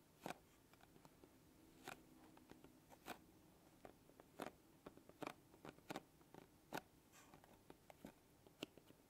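Long glittery acrylic nails and fingertips scratch and tap the surface of a small printed cardboard box of kinetic sand lying flat on a dark table. Quiet, irregular sharp clicks and taps rise above a soft, continuous scratching hiss, each tap bright and very short with no ring.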